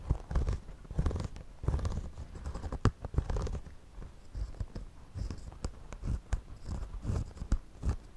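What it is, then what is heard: Woven straw hat, scratched. A wooden pencil is drawn across the brim of a white, wide-brim woven straw floppy hat worn on the head, scratching the woven straw surface. The sound is close and low-heavy, with many short, dry scratching and crunching strokes in an uneven rhythm and brief sharp ticks between them.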